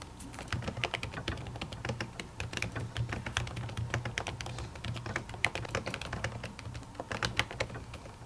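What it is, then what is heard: Laptop keyboard with silicone cover. A silver laptop keyboard with plastic keys under a white silicone cover is typed on steadily with long natural fingernails. Quick, light clicks and taps come in a continuous patter, with short, dry ticks centred around 2 kHz over a steady low hum.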